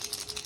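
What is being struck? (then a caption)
Plastic crankbait fishing lure. A plastic crankbait fishing lure is shaken, producing about five quick, bright clicking rattles from the rattles inside. The sound is thin and high-pitched with almost no low end.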